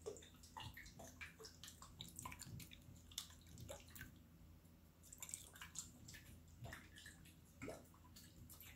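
A small clear glass jar with a green screw lid, partly filled with water and glitter, is held in one hand with long dark nails and shaken. The water sloshes and gurgles inside in quick bursts, with a steady low hum beneath. Bright, splashy droplet sounds sparkle over it.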